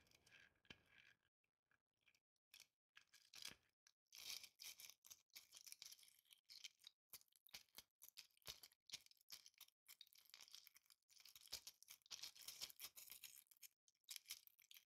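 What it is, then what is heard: Glitter-covered ball ornament scratched. Long painted nails scratch a hand-sized green Christmas ball ornament, held in the hand and covered in coarse glitter or tinsel flakes. The result is quiet, crisp, crackly scratching in rapid, uneven bursts, almost entirely high-pitched hiss with hardly any low end.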